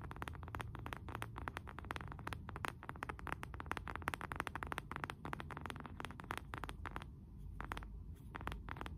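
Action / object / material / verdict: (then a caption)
tap / wooden candle jar lid / wood / none. Fingernails tap and scratch the face and rim of a round, flat, solid wooden candle jar lid, about palm-sized and held upright in both hands. Quiet, rapid, dry taps with almost no ring sit over a low, dull body, with lighter scratching between them and a brief softer stretch near the seven-second mark.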